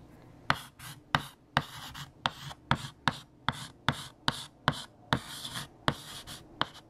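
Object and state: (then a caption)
Chalk writing on a blackboard. A stick of purple chalk, held in the fingertips, writes "Fact #29: Scotland" across a large, flat, solid black chalkboard. Sharp, dry taps land at a steady rhythm, each followed by a brief, bright, gritty scratch as the chalk drags over the surface.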